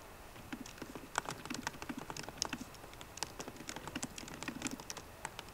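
Both hands type fast on a MacBook Pro keyboard, striking its plastic keycaps on the hollow aluminium laptop body with fingertips and long painted nails. A quick, uneven stream of short, dry clicks and taps rings out, each dying almost at once, with bright clatter over soft low knocks.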